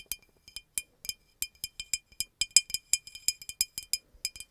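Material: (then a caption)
Glass. Long acrylic nails tap the neck and body of a green glass bottle with a red cap. Seventeen quick, uneven taps each give a short, bright glassy clink with a high ringing tone that dies away almost instantly.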